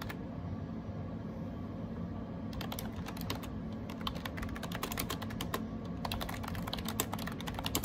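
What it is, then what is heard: Plastic keyboard being typed on. Fingertips type rapidly on a gray AJAZZ 308i wireless Bluetooth keyboard with round plastic typewriter-style keycaps and a hollow plastic case. After about two and a half seconds of only a steady low hum, a dense stream of short, crisp, clicky plastic key taps begins and continues to the end, each tap dying away almost instantly.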